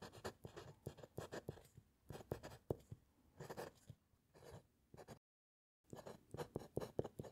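A metal fountain pen nib scratches across a white paper sheet resting on a solid wooden clipboard during continuous writing. Quick, short scratchy strokes come in clusters with brief pauses, then there is a moment of total silence before the strokes resume.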